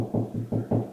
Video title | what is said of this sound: How to Install Grab Bar...Part 1 | Hear how deep that is? That's hollow space